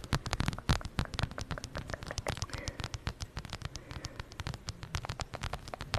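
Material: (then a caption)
Fabric, faux leather. A zip-around wallet with plaid fabric and a brown faux-leather strap is held with both hands above the microphone while long nails rapidly tap and scratch it. The result is a dense stream of quick, crisp clicks and scratchy brushes with a soft low thump beneath them.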